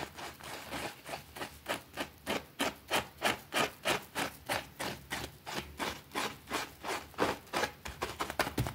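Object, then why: Small thin fabric rug scrubbed with a plastic brush on concrete. A white plastic brush scrubs a small, thin, foamy green fabric rug lying on a concrete floor. About 28 quick, steady back-and-forth strokes make a rough, wet rasping swish with a bright, hissy edge and little low end, each stroke stopping dead with no ring.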